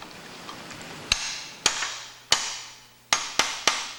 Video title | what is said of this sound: Comanche's 1000 Gear AD Video by Hans Neubert and George Mahurin | then I'll tap it in place there. It sounds like pay dirt.